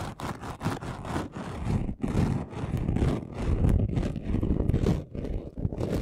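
Both hands scratch a flat, chunky gold glitter craft sheet with short nails, making fast, dense scratching that rises and falls in rapid bursts. The gritty rasp stays heavy and low, with only brief dips in loudness between flurries.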